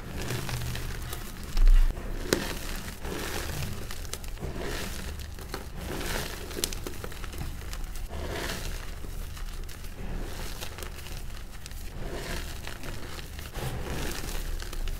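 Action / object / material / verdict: scrape / pile of chalk powder / magnesium carbonate / none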